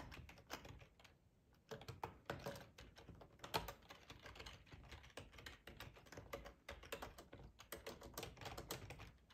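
Fingertips of both hands type on a black plastic ergonomic split computer keyboard with a hollow housing, lying on a tablecloth. It makes a steady run of quick, dry clicks and taps with a soft hollow thud beneath them, with a short lull near the start before the typing picks up again. Each tap dies away almost at once.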